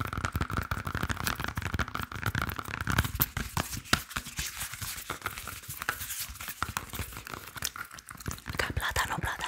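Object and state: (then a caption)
Unripe green plantain. Fingertips and nails tap and scratch along the peel of a large, solid, unripe green plantain with its peel on, making a fast, dense run of short, dry taps and scrapes with almost no ring. The clicks are bright, with a low thump under them and a steady scratchy hiss in between.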